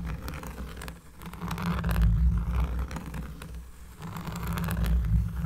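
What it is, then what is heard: Cork surface being scratched. Close-up scratching on a cork surface produces a deep, bassy rumble. Rough, rhythmic strokes swell in two long waves, with a bright, rasping texture riding over the heavy low end.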